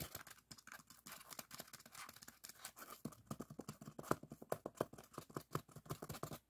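Fingertips and nails scratch and tap quickly along a long, solid white expanded polystyrene styrofoam bar. The result is a quiet, dry stream of dozens of rapid scratchy taps with a hollow midrange tone, each cutting off instantly with no ring. The tapping grows slightly louder and more distinct in the second half.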